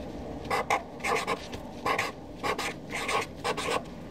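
A Sharpie felt-tip marker writes names on a flat white paper sheet resting on a desk, its tip scratching the paper surface. Short bursts of dry, raspy scratching strokes come in irregular clusters, with a bright, hissy edge and quiet pauses between them.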